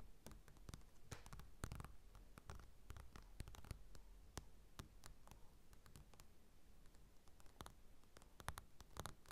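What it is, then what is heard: Glossy paper magazine. Fingertips and short nails of both hands tap and scratch the glossy cover of a closed Cosmopolitan magazine, a thin solid paper stack lying flat on a table, with a mini mic resting on the cover but not being struck. It produces a quiet, steady stream of rapid soft taps with dull low thumps, crisp clicks and a faint scratchy rustle, each hit dying away almost at once.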